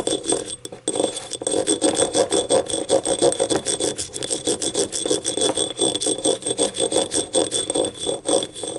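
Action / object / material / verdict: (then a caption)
scrape / small ribbed ceramic cup / ceramic / none. Long painted nails tap and scratch the ribbed outer wall of a small, hollow, empty yellow ribbed ceramic cup lying on its side on a table. Rapid, dense clicks and ridged scraping run steadily throughout, with a hollow mid-pitched body and faint, steady high ringing tones above. Each tap dies almost instantly.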